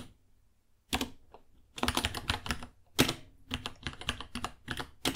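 Fingertips type on a white, hollow-cased 66-key mechanical keyboard with plastic keycaps and Gateron Brown switches, about 30 cm long. After a near-silent first second, irregular bursts of clacky keystrokes follow, each with a bright, sharp click over a hollow low thock. The hardest press lands near the three-second mark.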